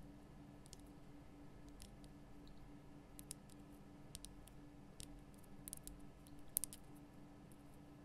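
Long painted nail tips tap a large, solid, lit pink Himalayan rock-salt lamp, making quiet, sharp, bright clicks scattered irregularly over a steady low hum. Each tap is very short and dry, with no ring after it, and a few taps near the end are slightly louder.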